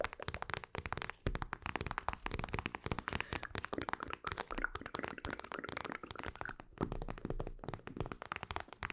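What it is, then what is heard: Plastic gel bead eye mask. Long acrylic nails scratch and tap a mint-green plastic eye mask filled with gel beads. The result is a dense, rapid stream of short crackling clicks and scratchy rustles with a muffled, squishy low end. Faint bright edges run throughout.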